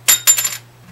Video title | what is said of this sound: make YOUR guitar play easier! gibson hummingbird | You can tell it's tusk. Hear that glassy sound? If I had a bone one here, I'd show you the difference.